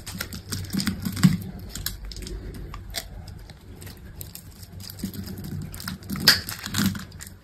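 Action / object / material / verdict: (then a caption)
scrape / bar of soap cut with a metal blade / soap / none. A solid green bar of dry soap, cut in a grid, has small cubes scraped off with a metal utility knife blade. The result is a run of quick, dry scraping and crumbly cutting sounds with brief, bright crackles over a soft low rumble.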